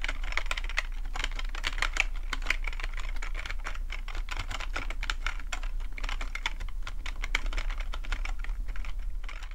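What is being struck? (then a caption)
Plastic computer keyboard. Fingertips type steadily on the keys of a full-size black plastic computer keyboard with a hollow plastic body. Dense, rapid, bright clicks and taps run continuously for about ten seconds over a steady low hum.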